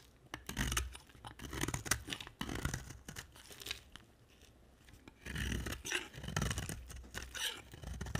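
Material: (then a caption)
Soap. A hand-held, solid oval yellow and blue bar of dry soap is scraped and carved with a utility knife blade. Bursts of dry, crunchy scraping strokes carry both a low rumble and bright rasping, with a quieter stretch near the middle before the carving picks up again.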